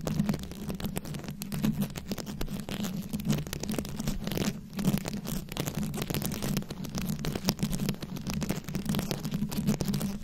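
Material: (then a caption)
Rhinestones. Long acrylic nails scratch and tap across a fist-sized microphone head fully covered in small glued-on rhinestones and beads. The result is a dense, continuous stream of crackly scratches and quick clicks over a steady low, droning rumble.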